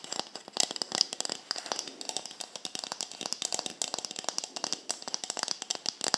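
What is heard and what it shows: A hollow white plastic cosmetic bottle with a black cap is held in both hands and tapped and scratched with long nails around the cap and body. The result is a rapid, dense run of short, dry, bright clicks and scratches with almost no ring and no low end.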